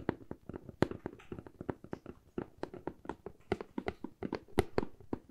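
Long fingernails tap and scratch the side of a medium, hollow corrugated cardboard box in a fast, uneven run. Short, dry, hollow knocks with a low-mid body alternate with brief scratchy rasps, each dying away almost instantly.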